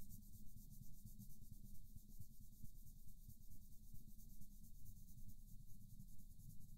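A green wooden colored pencil scratches and rubs back and forth in small strokes across a flat paper coloring book page while the other hand steadies the book. The result is a steady, soft scratchy rubbing with a low rumble and a bright hiss, pulsing at about two strokes per second.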